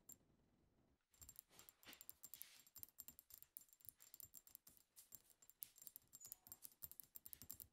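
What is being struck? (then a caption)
Glass perfume bottle. A pink-tinted glass perfume bottle labeled "Sweet Secret" is tapped rapidly on its front with long acrylic nails from both hands. After about a second of quiet hiss, a dense run of short, bright clicks follows with a faint high glassy ring, mostly in the high end with little low body.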